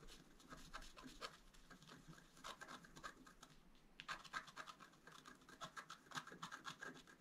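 A wooden stylus scratches the coating of a flat, black-coated scratch art card. Quiet, dry, rasping strokes come in quick, irregular bursts, with a bright, papery scrape centered around 1.6 kHz and little low end.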